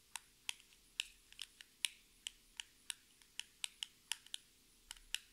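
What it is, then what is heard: Cardboard lipstick box tapped with fingernails. A small, hollow orange-and-white cardboard lipstick box with a barcode is tapped and scratched with long red nails. About eighteen quiet, sharp, dry clicks come at an uneven, slow pace. They are bright with almost no low end and stop almost instantly.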